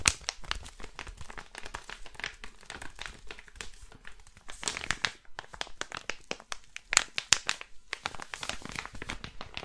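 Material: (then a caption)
Plastic. A flat blue crinkly plastic packet is rubbed and crinkled with the palm and fingertips. It gives a steady stream of bright, dry crackles and sharp snaps, with a few brief lulls between louder bursts.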